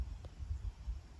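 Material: Nothing is struck.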